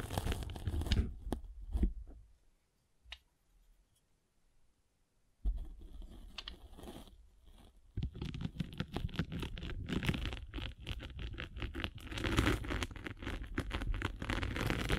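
A metal-spiked derma roller is rolled over the top face of a grey-and-blue abrasive foam sanding sponge held in one hand. It makes dense, scratchy, crunching rasps that come in a burst, drop to near silence for a few seconds, then return steadily for the rest of the clip.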